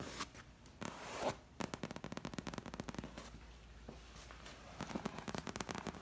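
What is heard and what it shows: Long red nails and fingertips tap and scratch the back of a dark green padded leather armchair, its soft upholstered surface giving a dull, close sound. A soft scratchy rustle opens the clip, then quick runs of short, crisp clicking taps follow with brief scratches between them. A final flurry of taps closes the clip.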